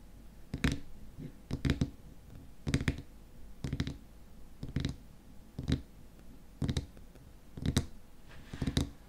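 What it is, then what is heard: Glass cream jar with plastic lid, tapped. Fingernails tap rapidly on the frosted white plastic lid of a small glass cream jar filled with cream. The taps come in quick clusters about once a second, sounding as dull, low clicks with a brief bright edge. Each burst dies out almost at once.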